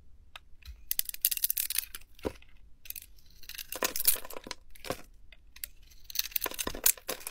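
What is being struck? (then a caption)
Glitter-coated soap bar scraped with a metal blade. A metal blade scrapes along a solid, palm-sized bar of green soap held in one hand, shaving its magenta glitter coating off in curls. The sound is a series of irregular, crisp, bright scraping and crackling strokes with short pauses between them, each ending quickly with almost no ring.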